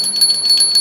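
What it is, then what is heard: Faulty brass hand bell with sticking clapper. A small brass aarti hand bell is rung to check it before buying, giving four quick, thin, high metallic strikes with a bright, steady ring and no low body. The clapper catches somewhere inside instead of swinging freely, so the bell sounds poor, is judged faulty and should be replaced.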